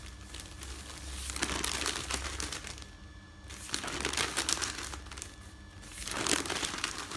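Hands fold and rub the pages of a folded stack of thin printed newsprint flat on a bed. The result is bright, dry crinkling and crushing that swells in three bursts, with quieter rustling between them and a faint steady low hum underneath.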